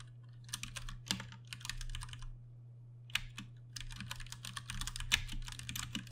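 Fingertips of both hands type continuously on a compact Ducky One 2 Mini mechanical keyboard with Cherry MX Brown switches and plastic keycaps. Bright, rapid clicky keystrokes come in bursts, with short pauses and a steady low hum underneath.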